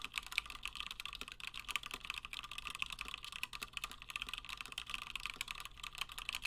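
Fingertips of both hands type continuously on a Gingham 60% plateless mechanical keyboard with Gateron Black switches and cream and blue PBT plastic keycaps. The result is a rapid, steady stream of short, dry clacks with a bright, crisp tone centered around 2.3 kHz, each keystroke dying away almost instantly, with very little low end.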